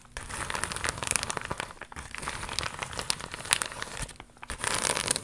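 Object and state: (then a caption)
Crinkled vinyl pouch. An iridescent, crocodile-embossed holographic faux leather vinyl pouch, held up in both hands, is scratched and crinkled with long pink nails. It makes dense, bright crinkling and scratching with sharp, crackly clicks. Two brief lulls break up the sound, around the two-second and four-second marks.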